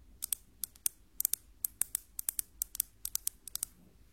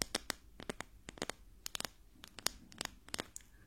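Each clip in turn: First: metal ruler. Second: wooden ruler (wood, not metal).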